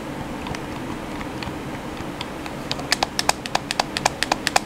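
Fingertips tap and press the chrome face buttons on a hollow black plastic PS4 controller. Faint, scattered ticks during the first few seconds give way to a quicker run of sharp, bright plastic clicks with a hollow mid-pitched knock, each dying away almost instantly.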